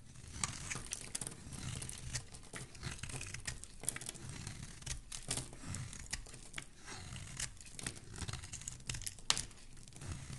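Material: Soap.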